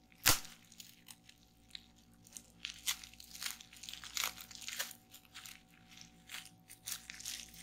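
Fingertips with long nails press, pinch and pop the bubbles on a sheet of clear plastic bubble wrap lying on a table. One loud, sharp pop comes right at the start, followed by a scattered series of softer, bright, crackly pops and crinkles that die away almost instantly. A faint steady tone sits underneath throughout.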